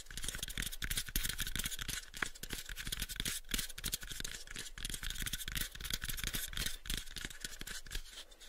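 Both hands tap with fingertips and scratch with nails on a pale, unfinished, hollow wooden box about a 7-inch cube. Quick, irregular clicky taps with short dull knocks run over a steady bright, scratchy rustle throughout, easing slightly near the end.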